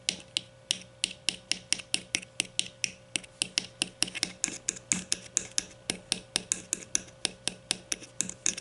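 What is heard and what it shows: Long nails tap and scratch the bottom rim and twist knob of a grey plastic deodorant stick held up from its bottom end. About 41 sharp, bright clicks fall in a quick, fairly steady rhythm, each dying away almost at once. A faint steady hum runs underneath.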